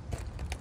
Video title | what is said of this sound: Pool remodel | you can hear like a Echo like there was Bond failure or delamination